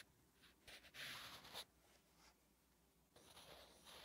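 A wooden graphite pencil writes Korean letters on a flat, solid lined paper notebook page. Short, bright, dry scratching strokes come in uneven bursts, with the loudest stroke near the middle and softer, lighter scratches after it.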